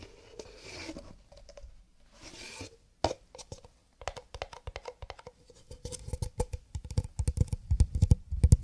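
Cardboard paper cups are tapped with the fingertips. Soft brushing swells open the clip, then crisp, short, dry taps with a hollow low thump follow, growing denser and louder toward the end.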